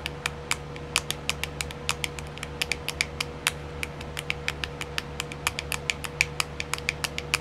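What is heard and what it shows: Long silver-painted nails tap and scratch on the lid of a small round clear plastic compartment wheel case filled with colored rhinestones. The result is a rapid, uneven series of short, dry, bright clicks with almost no ring. A steady faint hum runs underneath.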